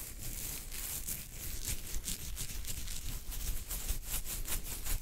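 Fingertips of both hands scratch a full beard on either side of the chin, giving a continuous dry, bristly rustle. The scratching comes in quick, bright strokes over a low, soft rumble close to the mic.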